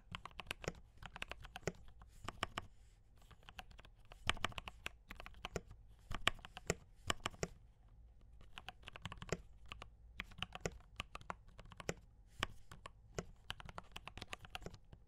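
Fingertips of both hands type on a D84 mechanical keyboard with brown switches and cream and red plastic keycaps. Quick bursts of short, dry clicks and clacks with a low thock carry bright top edges and stop instantly, broken by brief pauses between runs.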